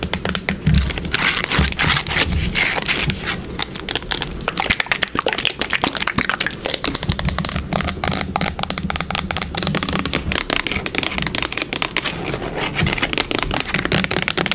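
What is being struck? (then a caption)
Plastic bottle. A yellow plastic bottle of wood polish with a brown cap and a label, held sideways, is tapped and scratched quickly by long pink nails. Dense, bright clicks and crackling scrapes run continuously with almost no ring, over a low hollow thump from the bottle.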